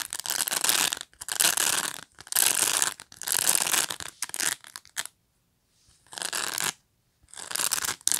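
Fingernails scratch back and forth through the short plastic bristles of a black pet brush, giving bursts of dry, bright, hissing rasps. The strokes come in uneven passes separated by brief silences.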